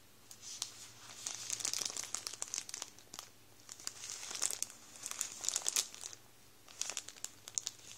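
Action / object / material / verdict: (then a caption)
scrape / thin plastic bread bag / plastic / none. Fingertips rub and squeeze the end of a full Warburtons plastic bread roll bag up close, crinkling the plastic. Bright, crackly crinkles come in uneven bursts over a faint low hum, with quiet pauses between them.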